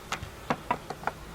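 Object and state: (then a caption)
Hollow section of a log beehive. Six sharp knocks on the lower part of a wooden log beehive made from a hollowed sugar tree, each a short dry tap with a mid-range, hollow tone around 680 Hz and almost no ring. The lower section sounds hollow.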